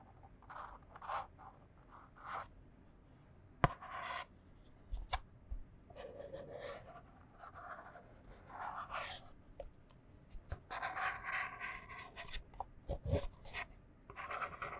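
Long fingernails scratch a small, empty, white printed cardboard box from bamboo product packaging, held hollow in both hands. Short, dry rasps and rubbing strokes come in uneven bursts, with a few sharp taps against the thin board. The sound is quiet, with bright scratchy texture over a faint low rumble.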